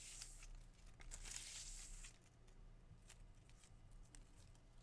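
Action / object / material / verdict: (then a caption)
scrape / fresh palm leaflets / leaf / none. Thin, narrow green palm leaflets are held in the hand and rubbed and split with fingers and dark-painted nails. The result is a quiet, crisp tearing and rustling with bright, hissy high-frequency scrapes over a steady low hum. The loudest burst of tearing comes in the first two seconds, then it eases into softer, scattered rips.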